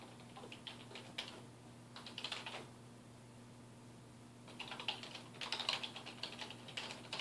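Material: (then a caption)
Plastic. Fingertips type on a dark plastic desktop keyboard resting on a wooden desk, producing quick, bright clicking keystrokes. The typing comes in two bursts separated by a quiet pause, over a faint steady low hum.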